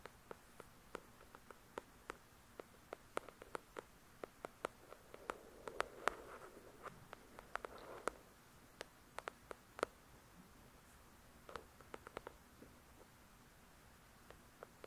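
A paperback novel, "The Shack," made of solid paper with a glossy card cover, is tapped and scratched by long pointed nails. Dozens of quiet, sharp clicks with bright edges are heard, irregularly spaced and dying away almost instantly. They are joined by soft, breathy scratching around 6 to 8 seconds.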